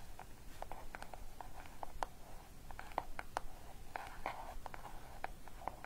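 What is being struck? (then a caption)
Paper-wrapped cardboard gift box. A small, closed, green paper-wrapped cardboard gift box with a pink satin ribbon bow, contents unknown, is tapped and scratched with long dark nails and fingertips. Quiet, rapid, dry clicks with a mid-pitched papery tone mix with soft scratchy rustling over a low background hiss. Each tap dies away almost instantly.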